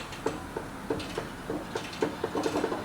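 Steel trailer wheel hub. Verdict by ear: Loose.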